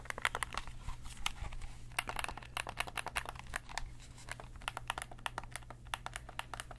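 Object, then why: Plastic game controller. Fingertips press and click the buttons and triggers of a hand-sized, hollow, black plastic PlayStation-style gamepad held in both hands. The result is a quick, irregular run of short, dry, bright clicks that stop instantly, over a steady low hum.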